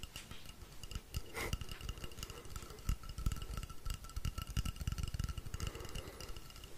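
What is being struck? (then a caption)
Painted wooden rainstick. A long, hollow, painted wooden rainstick is held in the hands while fingers tap and scratch along it, with some tilting. The result is a dense run of soft, dull low thumps over a faint scratchy hiss, with steady, thin ringing tones in the mid and high range.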